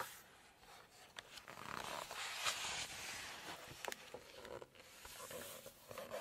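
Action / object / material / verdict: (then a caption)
scrape / glossy paper cookbook pages / glossy paper / none. Long nails turn the pages of an open glossy paper cookbook, then tap and scratch across the glossy paper surface. Soft, papery rustles and bright, crisp scrapes rise and fade, with a few sharp little taps standing out between them.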